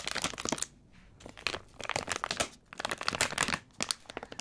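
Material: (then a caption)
Plastic film. A small, full Barratt Fruit Salad sweets bag of crinkly plastic film is held in both hands in front of the face and squeezed with the fingertips. Bright, crackling crinkles come in bursts separated by short quiet pauses, with almost no low end and no ringing.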